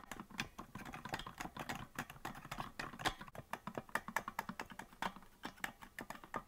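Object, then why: Plastic melodica keys. Fingertips tap and click the plastic keys of a hollow green plastic melodica that is not being blown. A rapid, uneven run of many short, dry clicks sounds with almost no ring, centered in the mid range around 900 Hz with a faint hollow plastic body.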